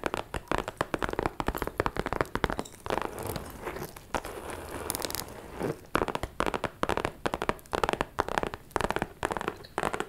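Long nails tap and scratch a small, closed, hollow pink metallic faux leather shoulder bag with a chain strap. Quick, crinkly clicks and crunches come in dense bursts, with a stretch of steady scratching in the middle. The sound is dry and close, with very little ring after each tap.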